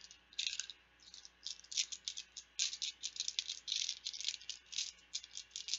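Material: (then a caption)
Plastic. Plastic Bananagrams word game letter tiles are rattled and shaken together. Repeated bursts of bright, dry clicking clatter come in quick, uneven shakes, with short pauses between them. Each burst stops almost immediately, leaving no ring.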